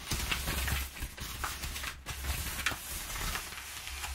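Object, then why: Crumpled kraft paper padding. Long nails rub and scratch across flattened, crumpled brown kraft paper packing padding. The result is a steady, dry rustling scrape with bright crinkly crackles over a low, constant rumble.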